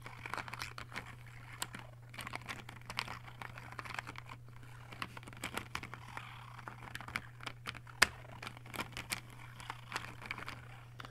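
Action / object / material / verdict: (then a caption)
tap / plastic case of fineliner pens / plastic / none. Fingertips of both hands rapidly tap the barrels of 20 plastic fineliner pens in a clear plastic case, giving a quick, light, typing-like clicking. The short, bright clicks come in uneven bursts over a steady low hum, with one sharper click near the end.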